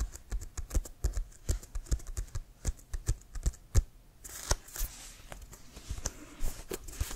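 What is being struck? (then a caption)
Inflated leather American football. Fingernails tap quickly on an inflated, hollow leather American football, first held upright and then horizontally. The taps are short, dull, low thuds with almost no ring. In the second half a soft bright hiss rises under the lighter tapping.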